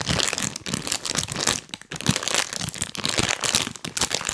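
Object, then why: Printed plastic snack bag. A full, printed plastic cookie bag is held in both hands close to the mic and squeezed and rubbed with rubber toy hands. It gives a steady run of bright, crisp crinkling and crackling with short uneven bursts and brief quieter dips.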